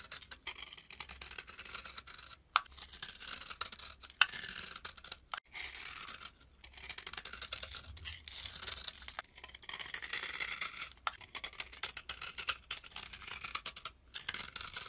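A metal blade scrapes the face of a solid tan bar of soap held in the palm, shaving off thin, flaky curls. Dense, bright, scratchy rasping comes in bursts separated by brief pauses, with a few sharp clicks and almost no low end.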